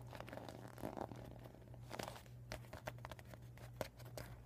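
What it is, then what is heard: Deflated vinyl beach ball, empty. Fingernails scratch and fingers crinkle a flat, empty, deflated PVC vinyl beach ball with yellow and white panels and a visible plastic valve. Quiet, dry crinkling and scratching are punctuated by short, sharp clicks and crackles, with brief tones near 600 Hz. A steady low hum runs underneath throughout.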